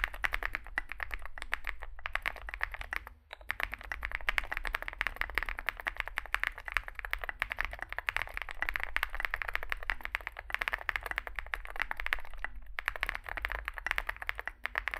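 Both hands type continuously with their fingertips on a compact 65% Zoom65 mechanical keyboard with an aluminium case, foam filling, lubed switches and SA plastic keycaps, resting on a desk mat. The result is a dense, rapid stream of short, crisp clacks centred around 2 kHz that stop almost instantly, over a steady low hum. The typing pauses briefly around 3 seconds and again near 12.7 seconds.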